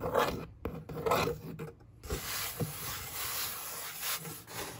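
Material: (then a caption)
Cardboard. A long nail traces and scratches across the hollow top of a brown corrugated cardboard box, making raspy scratching bursts. An open hand then rubs across the surface, giving a softer, steady papery hiss.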